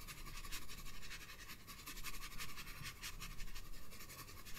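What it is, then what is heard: Pencil shading on a paper sketchbook page. A green wooden graphite pencil, held in a hand with red nails, shades the bulb of a drawing on a paper sketchbook page resting on a table. Quiet, bright scratchy strokes repeat in an uneven rhythm over a low background rumble.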